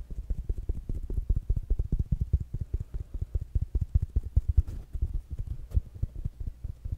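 Fingertips and nails tap on a small rounded black smart speaker with a fabric mesh cover. The result is a fast, somewhat uneven run of short, dull, low thumps with almost no ring or brightness.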